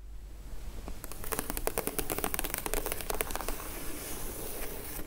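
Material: Cardboard.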